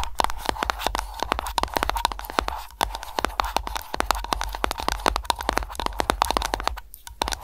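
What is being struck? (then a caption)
Aroma candle container. Long nails tap rapidly on an aroma candle container, mixed with scratching and lid sounds. A fast, dense run of short, dry, crisp clicks carries a faint tone near 880 Hz over a low rumble, with a brief pause near the seventh second.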